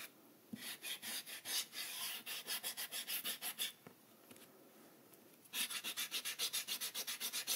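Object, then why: Rubber eraser on a paper sketchbook page. A white rubber eraser held between the fingertips is rubbed vigorously across a spiral-bound paper sketchbook page on a table while the other hand steadies the sheet. About two dozen quick, bright, scratchy back-and-forth strokes come in two bursts, separated by a quiet pause near the middle.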